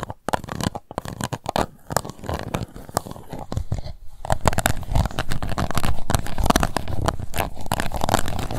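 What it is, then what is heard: Empty plastic cup scratched with nails. Long nails scratch the bottom of an empty transparent pink plastic cup, making a dense run of quick, crackling scrapes with a heavy low thud beneath them. The strokes come in an uneven rhythm and get louder and busier in the second half.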